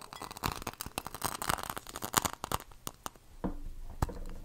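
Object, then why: Glass candle jar filled with wax. A medium red plaid-printed glass candle jar, filled with wax and lit, is held close and tapped with fingernails on the glass. Quick, irregular, dry clicking taps with a bright edge come in dense bursts, with little ring after each. Toward the end the tapping thins out over a steady low hum, with one sharper tap near the close.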